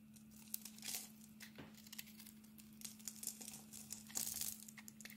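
A metal blade scrapes and carves curls off a solid bar of soap with a blue glitter coating and a cream-colored inside, held in the palm. It makes quiet, bright, crinkly scraping strokes with short crisp bursts, over a steady low hum.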